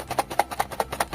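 A sealed Blokees Saint Seiya Galaxy Version 01 cardboard blind box (Box 1) is shaken, giving quick, dry, muffled ticks in a steady rhythm with little ring. The contents, three plastic bags of figure parts, are packed tightly with very little loose space, so the parts are barely heard moving.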